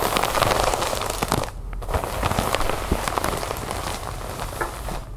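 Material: Plastic.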